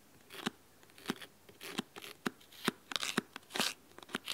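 Fingernails scratch the cloth spine and cover edge of a large, thick, solid red fabric-covered hardcover book held at an angle. Short, dry, bright scratching strokes come in irregular bursts separated by quiet gaps, with a faint low body under each stroke and almost no ring afterward.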